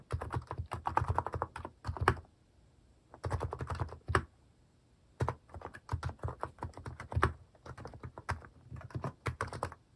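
Fingertips type steadily on a compact Hanmumu mechanical keyboard with a white plastic case and pastel cat-themed plastic keycaps, resting on a wrist pad. Quick bursts of clacky keystrokes have a deep, rounded low thock and little high sparkle, and each key dies away almost instantly. Two short pauses break the typing before it picks up again and runs to the end.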